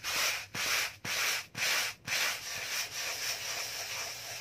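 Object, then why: Cardboard box. A small, hollow, white rectangular cardboard box is held in one hand and scratched and rubbed with the fingernails of the other hand close to the microphone. Five bright, hissy scratching strokes come about two per second, then give way to steadier, continuous rubbing. The sound is airy and dry, with almost no low end.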